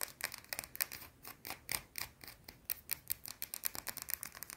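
A small, solid, round white soap bar held in one hand is scratched and tapped fast with long blue-painted nails. A rapid run of sharp, dry clicks and scratchy bursts sounds mostly bright and high, with almost no low end, each one dying away at once.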